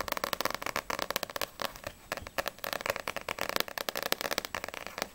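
Long nails tap rapidly on the glossy paper back cover of a small, solid paperback manga, No.6 volume 2, then the book is turned over and the front cover is tapped. The taps are dry, crisp clicks with bright ticks and almost no low end or ring, coming in quick uneven bursts throughout.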